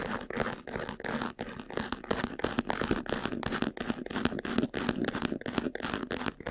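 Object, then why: Faux leather jewelry box. Fingernails scratch quickly over the lid and front near the buckle of a closed, hollow, medium-sized white textured faux-leather jewelry box. The result is a dense run of short, rasping scrapes and taps with a dull body around 250 Hz and a bright, dry hiss, each stroke dying away almost instantly.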